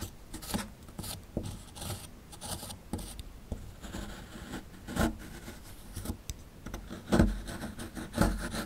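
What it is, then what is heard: Plaster fossil dig block being scraped. A chisel tool digs and scrapes the powdery plaster around a fossil relief in a small, solid plaster excavation block. Dry, gritty scratching and rubbing strokes come in an irregular rhythm, about one per second, with a few sharper, louder scrapes toward the end.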